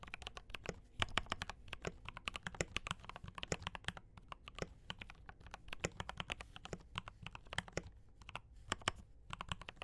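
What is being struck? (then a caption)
Mechanical keyboard with plastic keycaps. Fingertips of both hands type steadily on a D84 mechanical keyboard with brown switches and cream and red plastic keycaps. It makes a dense run of short, crisp clacks with a bright top and a soft low thump beneath each keystroke. Every stroke dies away almost at once.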